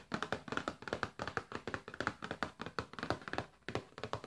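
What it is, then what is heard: Cardboard food box. A flat, printed Findus frozen food cardboard box is held upright and tapped repeatedly on its front with fingertips and nails. About two dozen short, dry taps come in an uneven rhythm, each with a hollow papery knock centered around 1.4 kHz and almost no ring.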